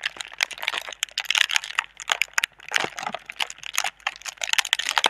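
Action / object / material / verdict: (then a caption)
scrape / thin plastic air-pillow packaging film / plastic film / none. Long red nails and fingertips crinkle and scratch a clear, thin, hollow plastic air-cushion tube of air pillow packaging held in both hands. Dense, rapid crackling and crinkling with bright, high-heavy texture and no low end comes in quick bursts with short pauses.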